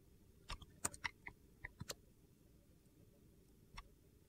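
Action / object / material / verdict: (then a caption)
scrape / soap bar cut with a metal blade / soap / none. A metal box-cutter blade scrapes and slices thin curls off a solid, hand-sized, rectangular purple-and-white marbled soap bar held in one hand. Nine short, crisp, high-pitched cuts crackle in a quick cluster over the first two seconds, followed by quiet and then one last cut near the end.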